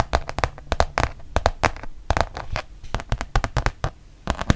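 A thin, flexible, solid printed rubber-backed fabric mouse pad, held in both hands, is tapped and scratched on its front with long painted nails. The result is a quick, irregular run of short, dry taps, each with a soft low thump and a brief bright click that dies away almost instantly. Faint scratchy rustling fills the gaps between them.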